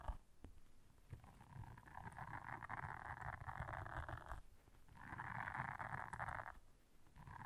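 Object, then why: Silicone bristle scrubber pad. Long nails scratch and press the bristles of a blue silicone bristle scrubber pad. Two sustained stretches of soft, mid-pitched rasping are heard, separated by a short pause, over a low, rumbling undertone. The scratching fades in and out, giving a gentle, textured hiss.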